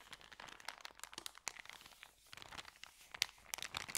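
Hands squeeze, bend and crinkle a folded, empty white paper sandwich bag. The result is a dense run of bright, dry crinkling and crackling with many sharp little snaps and almost no low end.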